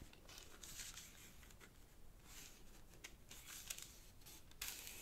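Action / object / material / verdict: scrape / thin sheet of origami paper / paper / none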